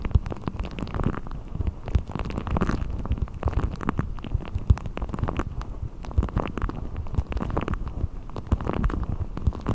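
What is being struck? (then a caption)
Deflated rubber ball. A blue deflated rubber ball with a thin hollow skin is stretched over a microphone and pulled and rubbed with fingertips. The result is a continuous low, muffled rumbling and gurgling with many quick, dull rubbing pops and crackles. There is almost no high-frequency content.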